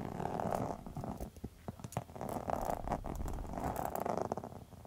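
Long metal nail tips scratch across a pink textured faux leather wallet. The result is a steady, purring rasp of dense scratching centred in the mid range, dipping briefly near the middle before returning in rough waves.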